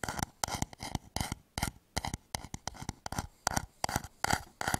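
Fingertips tap and scratch the outer wall of a medium turned wooden bowl, hollow and empty, held upside down over the microphone. The result is a quick, irregular run of short, dry, hollow knocks with a tone around 780 Hz, each mixed with bright scratchy texture and dying away almost instantly with no ring.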